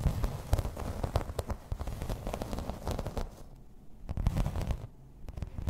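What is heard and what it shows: Long red nails tap and scratch in place on a thin, solid, grey embossed plastic placemat. The result is a dense run of quick, dry clicks and crackly scratching with almost no ring, heavy in low thumps, with a couple of brief quieter pauses.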